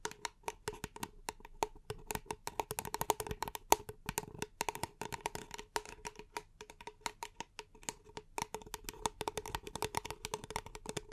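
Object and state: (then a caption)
Paper cup. A small, empty, hollow paper cup is held in both hands and tapped and scratched with long painted nails and fingertips. Rapid, dry, clicky taps come in dense irregular bursts with a hollow mid-pitched resonance and brief, bright scratchy edges. Each hit dies away almost instantly.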